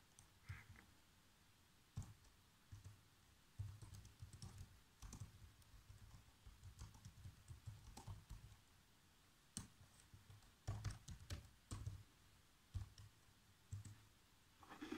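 Fingertips with short nails type fast across the keys of a black plastic chiclet laptop keyboard, producing quick, soft taps with a low thud and bright clicky edges. The keystrokes come in uneven bursts and single taps that die away almost instantly.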